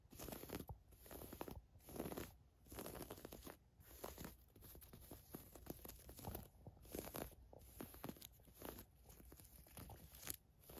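Long nails scratch and rub across the surface of a thin navy floral woven fabric camisole top. The result is a quiet, crinkly, scratchy rustle in uneven bursts, with brief pauses between strokes and a soft low rumble underneath.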